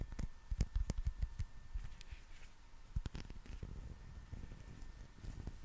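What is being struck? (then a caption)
Soft rubber toy figure. Fingernails scratch a soft rubber dinosaur figure with bumpy skin texture while both hands squeeze it. The result is a close, dull patter of soft low thumps and quick scratchy rustles, with a faint steady tone underneath.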